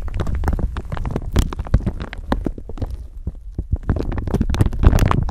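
A thin clear plastic bag stretched over a microphone is rubbed and crinkled with long nails. The result is a dense, continuous run of crackling and crinkling, heavy in low rumbling handling noise from the microphone underneath, with brief bright snaps throughout.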